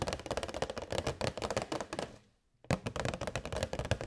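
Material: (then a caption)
Plastic. Long white nails tap quickly on a hollow, transparent plastic box holding LED fairy lights, making a dense stream of short, dry clicks. The tapping stops briefly, then resumes at the same brisk pace.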